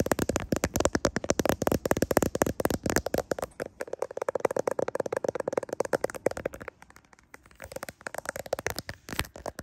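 Fingernails tap and scratch a smartphone's clear plastic case and its camera lenses while the phone is held close in a mirror. The result is a dense stream of rapid, dry clicks and scratchy crackles centered around a mid-range tone near 590 Hz. The stream thins into sparser taps toward the end.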